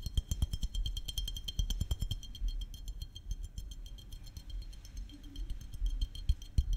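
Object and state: Glass syrup bottle.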